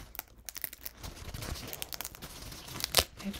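Fingertips pinch, rub and crinkle a thin, crumpled paper towel stained purple and green, held close to the microphone. A quick series of soft, bright crackles and papery rustles builds to a sharper crunch near the end.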